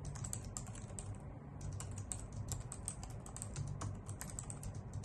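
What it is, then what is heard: Plastic computer keyboard. Long nails and fingertips type rapidly on a white full-size plastic keyboard with hollow key caps, making a dense stream of bright, sharp clicks. The clicks decay quickly over a steady low hum.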